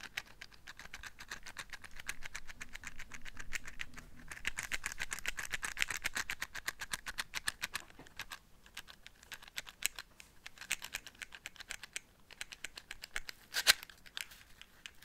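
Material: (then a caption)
Cardboard. A small, closed cardboard matchbox with a blue label, hollow and filled with matches, is held in one hand near the microphone and tapped and scratched with long manicured fingernails, possibly shaken so the matches rattle. Rapid, dry, bright clicks and scratchy taps patter on with very short decay, swelling into a denser, louder stretch midway. The taps then thin into scattered sharper clicks, with one crisp, loud snap near the end.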